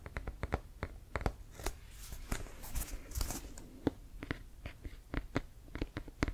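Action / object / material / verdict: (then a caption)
tap / inflated composite leather American football / composite leather / none. A full-size, inflated, hollow brown Wilson composite leather American football with laces is held in hand and tapped and scratched with fingertips and nails. Quick, dry taps land as low, hollow thumps with bright clicky edges. In the middle, a stretch of scratchy, rustling nail strokes runs across the leather.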